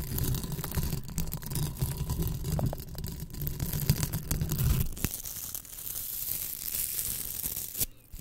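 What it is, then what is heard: Velcro hair rollers. Two small pink hollow foam hair rollers covered in velcro are held in both hands and squeezed, rubbed and pulled against each other by the fingers. Dense, irregular crackling and rasping scratches ride over a heavy low rumble for about five seconds. The sound then thins to a quieter, brighter hiss before dropping away near the end.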